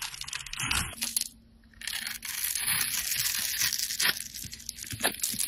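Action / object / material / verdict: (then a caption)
scrape / bar of soap carved with a metal blade / soap / none. Metal utility blades scrape and carve textured lines and crumbs into a handheld, solid coral-pink bar of soap. The sound is a bright, dry, crackling scrape with sharp ticks and brief clinks, with a short near-silent pause around the second mark before the carving resumes steadily.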